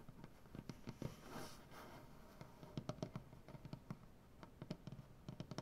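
Painted fingernails on both hands tap and scratch a large, solid maple butcher-block tabletop. A soft scratching rustle fills the first two seconds, then quick, dry, low taps with bright nail clicks follow in an uneven run. Each tap dies away almost instantly.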